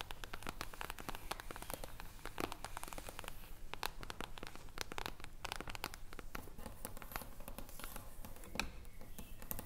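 Long acrylic nails and fingertips tap and scratch the silver reflective foil cover of an upright hardcover book. The result is a quiet, dense stream of rapid, irregular clicky taps and crackly, crinkling scratches with almost no ring, over a low background rumble.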